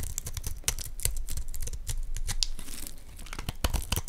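A metal utility blade scrapes dense, crumbly shavings off a solid, palm-sized, greenish Dalan olive oil soap bar held in one hand. The result is a quick run of crisp, dry scraping and crackling strokes with bright highs, over a soft low rumble.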